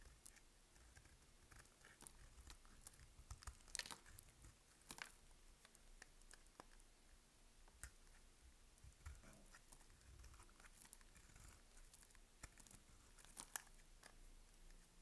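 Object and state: Dry bar soap being cut.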